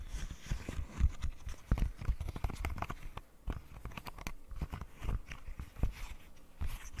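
A rainbow silicone pop-it fidget toy, held close to the mic, has its edges and bubbles tapped and scratched with long nails. It makes a quick, irregular run of soft, dull, low thumps mixed with sharp, bright clicks and faint scratchy rustles. Each tap dies away almost instantly.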